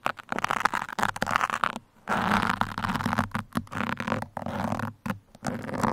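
Steel pins poke and scratch the top and sides of a black foam microphone windscreen, making close, rough scratching and crinkly scraping bursts broken by short silences. The texture is dry and broadband with a mid-range emphasis and a faint low hum underneath, and it stops dead after each stroke with no ring.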